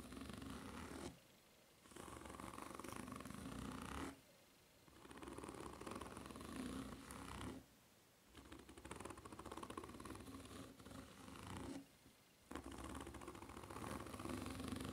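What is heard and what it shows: Long nails scratch and tap the serrated tread of a white foam-rubber flip-flop held upside down, its solid ridged sole producing a dense, raspy, buzzing scrape with a low hum near 260 Hz. The scratching comes in long continuous bursts separated by brief quiet pauses.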